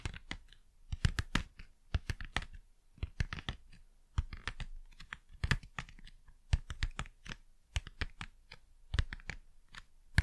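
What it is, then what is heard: Cardboard packaging tapped. Fast, crisp tapping on cardboard packaging, with dense dry taps that each die away almost instantly. The hits cluster in quick uneven bursts with short pauses between them. The sound has a low, thumpy body and bright clicky edges.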